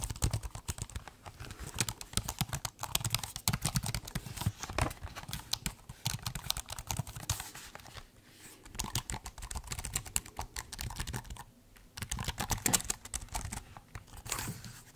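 Fingertips type on the plastic keys of a silver laptop keyboard while the laptop is held tilted. The result is a dense run of short, dry clicks with a soft low thump under a bright tick, broken by brief pauses around 8 and 11.5 seconds.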